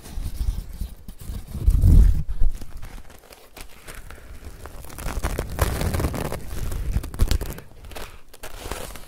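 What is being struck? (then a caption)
Woven straw hat. Fingers scratch along the brim of a woven straw sun hat, then bend and squeeze it, producing dry, irregular crinkling and scratching over a low rumble. The sound swells into a louder crunch near the two-second mark, then continues in softer, uneven bursts.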